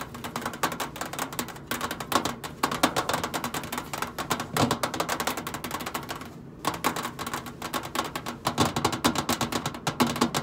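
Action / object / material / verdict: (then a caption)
tap / stainless steel microwave side panel / stainless steel / none. Long pointed acrylic nails tap and drum rapidly on the flat stainless steel side panel of a commercial microwave, a large hollow metal box. The result is a dense stream of quick, clicky metallic taps with short ringing, nearly continuous apart from a brief pause midway.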